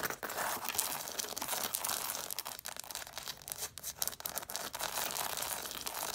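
Long nails scratch and tap along the paper page edges of a stack of red hardcover books. The result is a steady, dry, papery scratching with quick, light ticks, bright and hissy with almost no low end.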